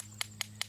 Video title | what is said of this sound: Quick Cleaning Iron Civil War Relics From A Recent Adventure | I'm just hitting the cocoon you can hear it as it makes a hollow noise when it as I'm tapping it that's the cocoon breaking off